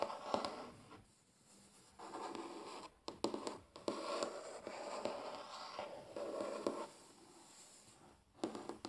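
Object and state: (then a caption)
Wooden tabletop. Short fingernails tap fast and scratch across a large, flat, solid wooden tabletop, close up. Bursts of dry rasping scratches with a mid-range body are broken by sharp, quick taps. Brief quiet gaps fall between the bursts.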